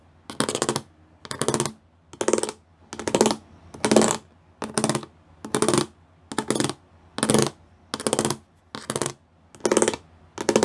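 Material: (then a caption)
Plastic. Fingertips and nails tap and scratch across a flat grey plastic sheet covered in rows of small square pyramid studs, thin and likely hollow-backed. About thirteen short bursts of fast, clicky rattling come in a loose rhythm, each a dense run of dry ticks with a hollow midrange body and bright edges, separated by near silence.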